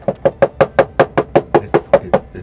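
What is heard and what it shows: A dozen quick, evenly spaced knocks on the light plastic case of an 8BitDo Retro keyboard. Each is a short, dry tock centered around 560 Hz with almost no low end, and it dies away almost at once. The knocks sound hollow because the case is hollow, with nothing inside it.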